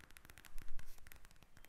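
Long acrylic nails tap and scratch across a pink eye mask, a clear plastic shell filled with gel beads, lying flat on a table. The result is a fast run of soft, crisp clicks with bright edges, plus a brief fuller rustling swell in the middle.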